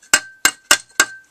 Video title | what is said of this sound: tinyCopter Update - Motor Control | it sounds like metal if you hit it on something